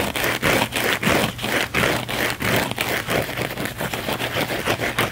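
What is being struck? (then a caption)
Thin foam sponge. A thin, flexible blue foam sponge is held in the hands and scratched fast and aggressively with the fingernails. The result is a rapid, uneven series of rough, bright scraping strokes with short gaps between them.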